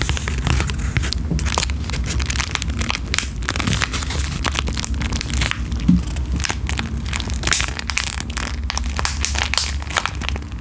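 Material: Plastic foil.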